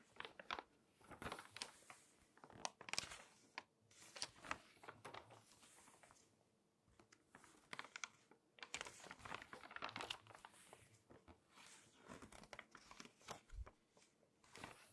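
Long dark-painted nails tap and scratch across the thin, printed pages of a large open glossy paper magazine and turn them, the spread changing as the pages go over. Quick, bright crinkles, taps and rustling scrapes come in clustered bursts with brief quieter gaps, each sound dying away almost instantly.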